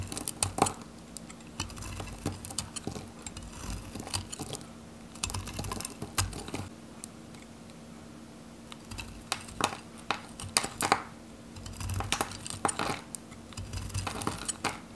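A metal knife cuts into a handheld, solid, pale yellow bar of varnished dry Godrej No.1 soap and shaves curls from its edge. Bursts of crisp, dry, bright crackling and scraping come in clusters with short pauses between them, and each sound dies away almost instantly. A faint steady low hum runs underneath throughout.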